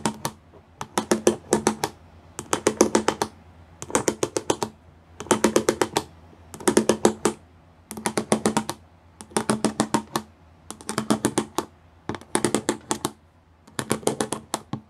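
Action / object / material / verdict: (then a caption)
tap / plastic studded panel / plastic / none. A painted fingernail and fingertips tap quickly on a grey plastic sheet covered in square pyramid studs. The taps come in ten short bursts of crisp, bright clicks with brief pauses between them. Each click is dry and dies away almost at once.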